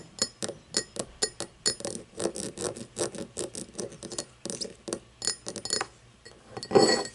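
Long painted fingernails tap and scratch an empty cut-crystal glass tumbler lying on its side on a wooden table. A rapid, uneven series of short, bright clinks rings only briefly, with scraping between some taps. The clip ends on a longer, louder scratch.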